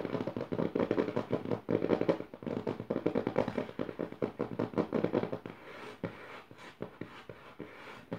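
Fingertips and long nails scratch and tap the dotted paper of the left page of an open notebook. The result is a fast, dense run of dry, papery taps and scrapes, mostly in the low-mid range with little brightness. It eases into quieter, sparser taps in the last few seconds.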